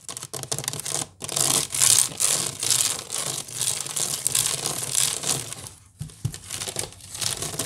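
A large, hollow woven wicker basket is scratched quickly across its woven strands by long nails using both hands. The result is a dense, bright, crackling rasp in rapid bursts, with brief pauses near one second and six seconds.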